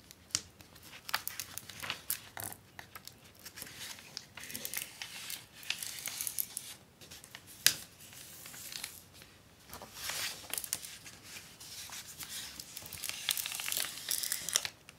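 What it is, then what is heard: Plastic book-cover film being creased. A folded sheet of clear acetate book-cover film with a paper backing lies flat on a desk while fingertips and long nails press and rub along the fold line to crease it. The result is a quiet, bright, crinkly crackle of many short, sharp snaps and scratchy rubs, with almost no low end and some louder pops along the way.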